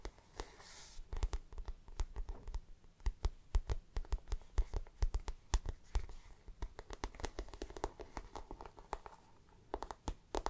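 Long black nails scratch and tap the glossy, shiny plastic-coated floral panel of a handbag held close. Quick, dry clicks with almost no ring come in dense runs over soft, continuous scratching, with most of the energy sitting low.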